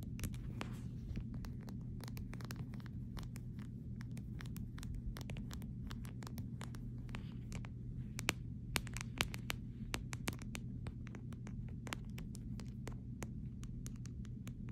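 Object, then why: Clear plastic phone case. A fingernail scratches and taps the rim around the camera corner of a clear plastic phone case. Many short, sharp, bright clicks and light scratches sit over a steady low hum, with a few louder taps near the middle.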